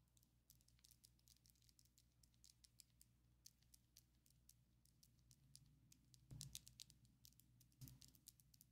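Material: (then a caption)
Acrylic. Long, coffin-shaped ombre acrylic fake nails on both hands tap their small, hard tips against each other in a quiet, steady stream of quick, bright clicks centered around 3.9 kHz that die away almost instantly. A low, constant hum sits underneath. Two louder bursts near 6.3 and 7.8 seconds add a brief low thump.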